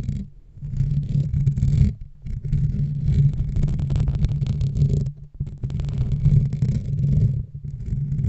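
Long nails and fingertips of both hands scratch and rub directly on the dark metal wire-mesh grille of a large USB desk microphone with a hollow head. The result is a deep, muffled, rumbling scrape with nearly all its energy in the low end and only a faint thin hiss above. It runs almost continuously, with brief quiet dips in between.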